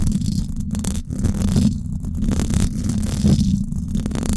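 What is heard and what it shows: Long acrylic nails scratch the hollow silver woven-wire dome grille of a Blue Yeti microphone. The result is a continuous, dense rumbling scrape, heavy in the low end and steady in level, with faint bright scratchy streaks above.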